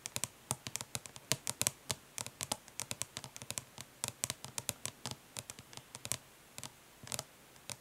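Long nails tap quickly but gently on the embossed lid of a flat, hollow plastic eyeshadow palette resting on cloth, with some light scratching. The result is a fast, uneven stream of short, bright clicks that stop almost instantly, with little low-end body.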